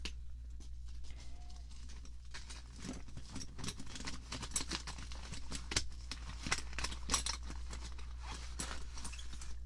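Fingertips and long French-manicured nails tap and scratch across a clear sealed plastic package holding an assortment of about 25 plastic-handled paint and foam brushes, lying flat on a table. Quick, bright crinkly taps and scratchy rustles sound over a steady low hum, with a few sharper clicks standing out.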